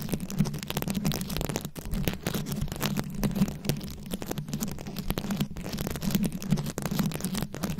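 Very long acrylic nails scratch fast over a round, fist-sized microphone head covered in plastic rhinestones and beads. The result is a dense, continuous stream of crackly, gritty scratches and clicks over a steady low hum near 200 Hz.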